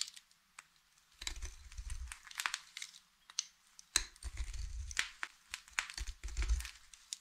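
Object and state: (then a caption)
Dry soap bar being cut. A hand holds a solid blue Fax soap bar and cuts it into a fringe of thin shavings with a utility knife blade. Dry, crunchy cutting sounds come in short sharp clicks and longer scraping bursts, with a bright crackle on top and a low rumble underneath.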